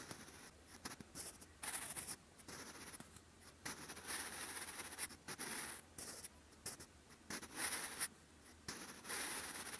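A sharpened wooden pencil writes on a lined grey-beige paper notebook page, its graphite tip scratching across the paper surface in handwriting strokes. Quiet, bright, dry scratching comes in short bursts separated by brief pauses, with a faint high hiss on top and very little low end.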